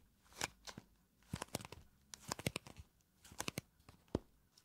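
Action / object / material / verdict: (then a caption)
scrape / small cardboard box / cardboard / none. A small pink cardboard blotting paper box is turned on its side and then onto its front while long nails scratch along its edges and faces. The result is a quiet series of short, dry, crisp scratches and taps with bright, high crinkly detail, separated by brief pauses.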